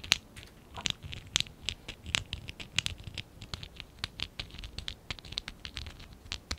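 A small stack of hollow lilac and dark blue ABS plastic Lego Classic 11017 bricks is held in both hands while fingertips and nails rub and scratch along its sides. The result is a rapid, irregular run of dry, bright scratches and ticks with almost no ring, over a faint low rustle.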